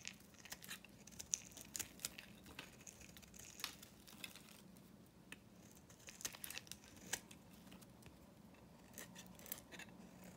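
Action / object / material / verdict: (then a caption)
scrape / painted soap bar shaved with a knife / soap / none. A hand-held bar of solid dry soap, painted blue and pink, is shaved with a metal knife blade, peeling off curls of soap. The blade makes bright, crisp scraping and crackling strokes that snap and crinkle, with short sharp clicks scattered over a faint low hum in a quiet space.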